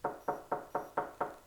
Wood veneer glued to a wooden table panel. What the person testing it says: if you knock on the piece right it has a really solid sound to to it and that's when you know that the veneer is firmly bonded